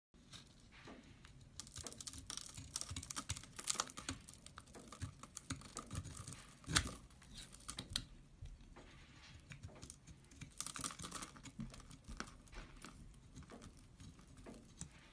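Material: Soap.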